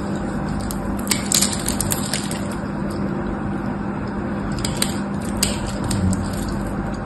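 A metal knife carves and scrapes crumbly flakes off a solid pink and white striped bar soap held in one hand. A steady, dense crunchy scraping continues throughout, with bright, crisp crackles standing out at moments.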